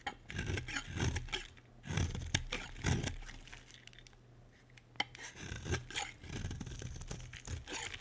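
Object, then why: Bar of soap scraped with a knife blade. A utility knife blade scrapes a solid white bar of soap, sending flakes falling onto a pile. Soft, dry, rasping strokes come in repeated bursts with quieter gaps between them, over a steady low hum.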